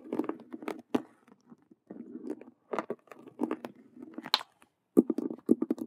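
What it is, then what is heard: Faux leather cube handbag scratched and tapped. Long nails tap and scratch the stitched vinyl squares on two faces of a hollow faux leather Rubik's cube handbag. The result is fast, aggressive bursts of dry scratching, mostly low-mid, with brief sharp taps and short silent gaps between flurries.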